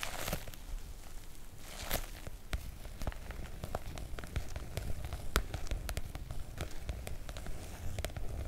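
Long nail tips from both hands tap and lightly scratch the surface of a floral PVC-coated oilcloth make-up bag. Sharp, bright ticks land at an irregular pace over a soft, continuous scratchy rustle and a steady low rumble underneath.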